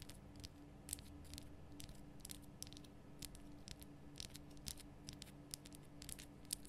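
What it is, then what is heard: Himalayan rock salt lamp. Fingertips and long nails tap and click across a large, lit pink Himalayan rock salt lamp made of solid, rough salt. The quiet, irregular taps come as short, dry, bright clicks with almost no ring, over a steady low hum.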